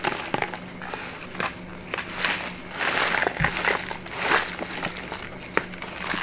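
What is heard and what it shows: A small, empty brown kraft paper bag held open in the hands is squeezed, crinkled and tapped with fingertips and long nails. Dry, bright crackling and rustling swells come and go, broken by short sharp taps, over a faint steady low hum.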